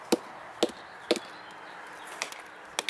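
A sounding mallet taps the base of a veteran chinquapin oak trunk in several sharp, dry knocks with a midrange body around 320 Hz and bright clicky tops. Each knock dies almost at once. The spot sounds solid.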